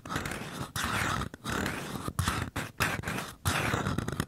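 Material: Paper.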